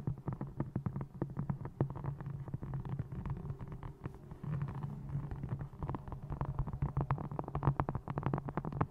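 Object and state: Faux-leather notebook, tapped and scratched.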